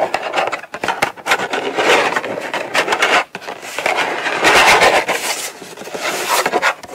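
Long nails tap and scratch across the lid of a small, closed, hollow brown kraft cardboard gift box resting on a padded mat. The result is a dry, papery rasp of quick scratches and light taps with a mid-to-bright texture, swelling and fading in bursts with no low rumble.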